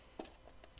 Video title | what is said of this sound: Observable Properties_Content Explanation Video | it sounds like it's hard because I hear like a little echo it's like because it's tin